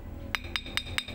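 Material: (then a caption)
Jasper. Multicolor iron jasper (badar besi) stones are tapped together four times, giving sharp, bright, high-pitched clicks that die away almost instantly. The stone is fairly solid and hard.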